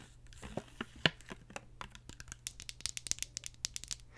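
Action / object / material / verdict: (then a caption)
tap / plastic deodorant stick case / plastic / none. Long acrylic nails tap and scratch the top and sides of a hand-sized plastic deodorant stick, a solid stick inside a hollow case, held in one hand. The result is a quick, irregular run of sharp, bright clicks and dry scratches that grow denser toward the end, with a possible faint crinkle of leftover wrapping underneath.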